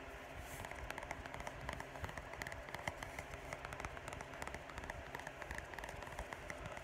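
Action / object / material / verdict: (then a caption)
tap / paperback book with thin card cover / paper / none. Fingertips and short nails tap and scratch the thin card cover of a small orange paperback poetry book with a solid stack of paper pages, then the book is turned edge-on and handled near the end. The sound is a quiet, steady stream of soft, dry taps and papery scratches over a low rumble, with brief clicks and a bright rustle on top.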